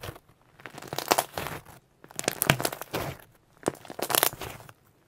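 A large, flattened purple pearl shimmer slime on a white surface has a fold pressed and squeezed repeatedly by both hands and fingertips. This produces three bursts of crackly, crinkling squelches with sharp bright pops. Short quiet gaps separate the bursts.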